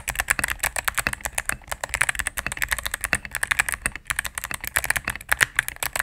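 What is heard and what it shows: Fingertips and medium nails type rapidly on a cream full-size mechanical keyboard with plastic keycaps on a solid plastic case. A fast, uneven stream of short, sharp clacks follows, bright and crisp with a strong tone near 1.7 kHz and very little low end. Each keystroke stops dead, with no ring.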